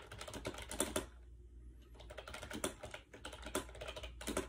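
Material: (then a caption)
Plastic. Fingertips type quickly on a compact gray AJAZZ 308i wireless Bluetooth keyboard with round white keycaps, resting on a bed. The hollow plastic keys give off rapid, light clicks and clacks with short, bright attacks and almost no ring. A brief pause early on separates the bursts of typing, over a faint, steady low hum.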